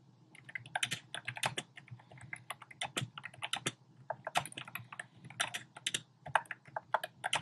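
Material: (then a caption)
Plastic. Fingertips type rapidly on a compact black plastic typewriter-style keyboard with round plastic keycaps. The result is a quick, irregular stream of sharp, bright clicking key taps that stop short with no ring, over a faint steady low hum.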